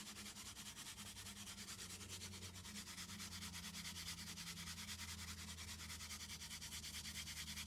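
Long green nails scratch and rub a small, hollow brown cardboard box, making a steady, rapid, bright scratching rasp that keeps a quick rhythm throughout. A faint low hum sits underneath, and the loudness swells slightly over the clip.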